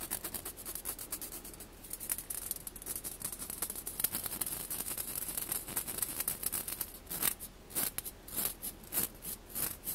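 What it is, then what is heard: Mesh skimmer ladle. A mesh skimmer ladle is rapidly tapped and scratched, producing a bright, ratchet-like rasp across the mesh. Dense, quick strokes blur together at first, then separate into short crisp taps toward the end.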